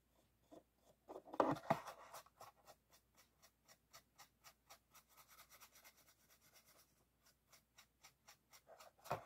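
An empty clear PET water bottle is held in one hand while a small paintbrush brushes its ribbed side and bottom. Quiet, quick, crisp bristle strokes repeat at roughly three per second, with a louder crinkly burst near the start and another at the very end.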